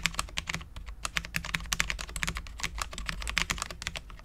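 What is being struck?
Low-profile mechanical keyboard with plastic keycaps on a steel plate.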